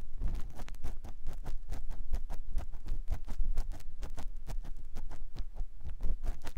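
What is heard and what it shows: A clear silicone ear pick scratches inside the canal of a white silicone ear mounted on a binaural microphone block. The result is a steady run of rapid, muffled scratching and rubbing strokes, dull and low with brief, dry scrapes and almost no ring.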